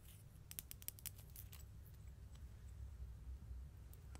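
Two small solid metal coins, one held in each hand near the microphone, are tapped and scratched with long nails and fingertips. A quick cluster of sharp, bright clicks comes early, then fades into softer, sparse scratching over a steady low rumble.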